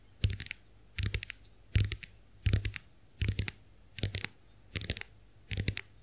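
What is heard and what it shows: Long acrylic nails tap the plastic backs of a small round white plastic clamshell hand mirror held open. Eight quick bursts of rapid, bright clicking taps sound at a steady pace, each dying away almost at once, over a faint low hum.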